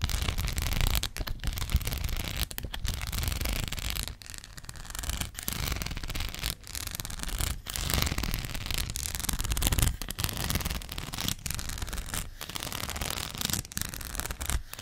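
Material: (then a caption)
Plastic rhinestones. Long black acrylic nails scratch across a thin, hand-sized gold rhinestone sticker sheet. The result is a steady, gritty scratching with a bright, hissy texture over a heavy low rumble, broken by brief pauses as the strokes change.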